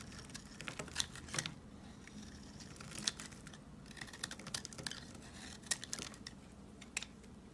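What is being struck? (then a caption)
Bar of soap. A rectangular, solid white soap bar is held in the hand and shaved along its edge with a box cutter blade. It makes a steady run of quiet, crisp, bright crackling scrapes with sharper snaps mixed in, and crunchy flakes peel away.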